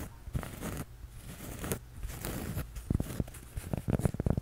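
A flat, solid, toast-shaped cork coaster is held in both hands and tapped and scratched with fingertips and nails. Soft, dry scratching strokes come first, followed by a run of quick, dull taps toward the end. The taps are low and muted with no ring.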